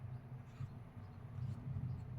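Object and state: Nothing is struck.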